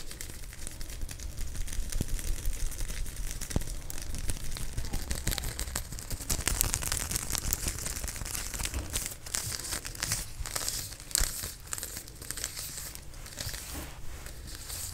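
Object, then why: Folded vinyl sewing tape measure. A white vinyl/fabric sewing tape measure, folded in layers and held in the fingers, is rubbed, scratched and crumpled by fingertips and nails close to the mic. The result is a fast, irregular stream of bright crinkling and scratchy crackles over a steady low rumble, with a few sharper snaps standing out.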